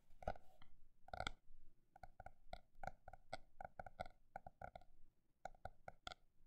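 A paper notebook is tapped with a mix of fast and slow taps. The result is a quiet series of short, hollow knocks with a resonant tone around 600–700 Hz and faint bright overtones, each dying away quickly. The taps come in an uneven rhythm, with bunched flurries between sparser single taps.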